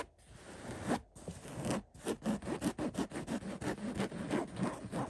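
Fingertips and short nails of both hands quickly scratch a cotton floral throw pillow made of floral-print woven fabric. About 12 rapid, uneven scratchy rasps are heard, each a dry, short burst of fabric noise with a soft low-mid body. The rasps come after a few slower rubs at the start.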